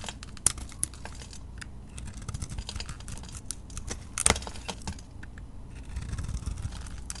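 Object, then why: Bar of soap scraped with a blade. A utility knife blade scrapes and shaves a solid soap bar with a glittery colored coating and a green interior, held in the hand. Dense, crisp scratching and bright ticking flakes come through quietly over a steady low rumble, with a few sharper, louder strokes standing out.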